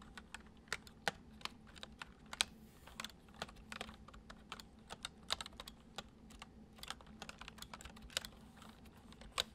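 Fingertips of both hands tap the keys of a white plastic MSI computer keyboard in continuous typing. Quick, crisp, bright clicks with a tap centered near 3.2 kHz come at an uneven pace and die away almost instantly. A faint, steady low hum sits underneath.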